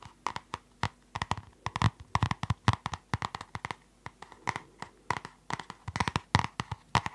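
Long nails tap and scratch the plastic cover and spiral binding of a closed purple spiral notebook. A quick, uneven series of short, dry clicks and scrapes is heard, each with a low thump and a midrange tick that dies away almost instantly.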